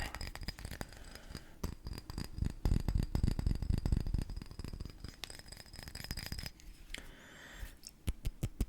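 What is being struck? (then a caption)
Glass cologne bottle. Fingers and short nails tap rapidly and somewhat irregularly on a bottle of Jean-Marc Paris Blue cologne, giving dense, short, dry clicks with low thumps that peak in the middle and thin out into a few sharper isolated taps at the end. The bottle is tapped firmly because the nails are short.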